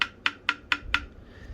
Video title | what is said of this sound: Ibanez GSR200 Neck Repair | that ping sound that's what you want to hear because what that basically means is now the fret is coupled with the neck